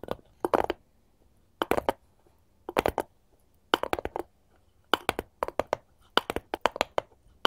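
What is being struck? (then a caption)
Wooden cutting board. A solid, light wooden cutting board is held upright while both hands, fitted with long gold metal claw tips, tap and scratch its face and edges. Short clusters of quick, dry clicking taps come in bursts separated by near silence. Each tap is crisp and bright with almost no ring.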